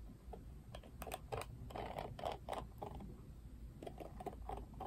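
Fingertips scratch and flick the plastic bristles of a plastic paddle hairbrush with a black cushion. The result is a quiet, irregular run of short, dry ticks and scratchy bursts centered in the midrange, with bright edges over a low, steady background rumble.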